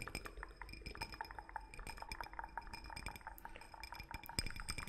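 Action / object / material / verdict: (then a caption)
tap / small empty glass drinking cup / glass / none. A small, empty, clear drinking cup, hollow and likely glass though possibly clear plastic, is held in both hands close to the mic and tapped and scratched with fingertips and fingernails. Rapid, dense clinks and light ticks layer over soft scratching, with a bright, high ring that fades almost instantly after each tap.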